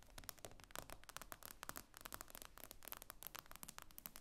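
Long nails tap and scratch across the glass screen of an iPad lying flat, making a quick, uneven run of sharp clicks with soft scratchy noise between them. Each tap is bright and dies away almost at once, over a faint low rumble.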